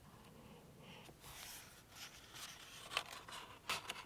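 A thick green chisel-tip highlighter makes long strokes over words on an open softcover paperback book with thin printed paper pages, lying on a table. The felt tip rubs across the paper in quiet, bright, scratchy swipes with little low end, and a couple of sharper ticks stand out near the end.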